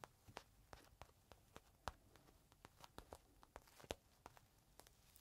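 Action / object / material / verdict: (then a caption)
tap / small plastic bag holding a folded microfiber cloth / plastic / none. Fingertips scratch and tap a small clear plastic bag holding a folded green microfiber cloth, resting on the palm. An irregular series of short, crisp plastic crinkles and taps sounds quietly over a hushed background, each with a bright, dry edge that dies away at once.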